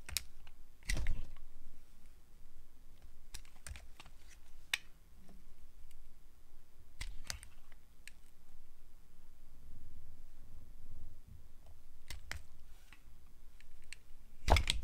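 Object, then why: Glycerin soap bar cut with a metal blade. A solid translucent yellow glycerin soap bar, held in the hand, is sliced with a metal blade. Short, crisp clicks and bright scraping snaps sound at irregular intervals over a low, steady rumble, each cut stopping almost at once.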